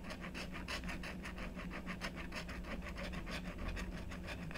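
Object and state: Scratch-art paper board being scratched.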